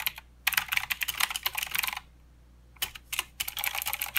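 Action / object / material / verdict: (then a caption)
tap / mechanical keyboard with plastic keycaps / plastic / none. Typing with both hands' fingertips on a mechanical keyboard with plastic keycaps and blue switches produces rapid, bright, clicky keystrokes. They come in bursts, pause for nearly a second, then resume in shorter runs.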